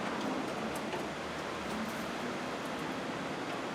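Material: Nothing is struck.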